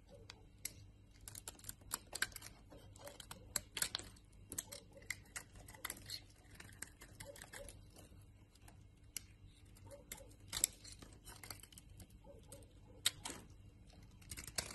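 A utility knife blade carves a solid white bar of soap, giving powdery shavings. Quiet, rapid, crisp scraping ticks and short cuts come in irregular bursts, bright and dry with almost no ring, over a faint steady low hum.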